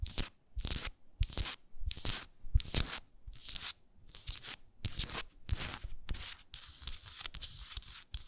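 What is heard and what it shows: Long nails tap and scratch a small hexagonal frosted glass moisturizer jar with a wooden lid, held sideways, working over both the lid and the glass body. Short bursts of bright, crisp scratching alternate with brief quiet gaps, each carrying a soft low thump. Toward the end the scratching becomes more continuous.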